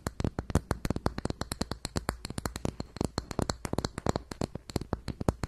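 Long white nails scratch quickly across the brown textured lid of a closed, round makeup compact with a gold rim, held in both hands above the mic. Around forty fast, sharp scratching clicks come in an uneven rhythm, each a brief dry tick with a soft low thump beneath and a faint bright edge.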